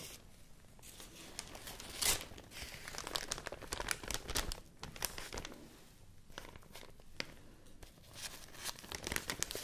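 A large, thin white rice paper sheet with visible fibers is held in both hands and crinkled and rubbed with fingertips and long nails. It makes dense, bright crinkling with sharp crackling bursts, the loudest flare coming early, over a soft continuous rustle.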